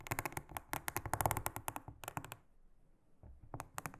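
A large, flat, solid, round blue silicone honeycomb trivet mat is brushed with a small silicone-headed brush. Quick, bright, clicky strokes come in a dense run, then pause into near silence before a few more sharp strokes return at the end.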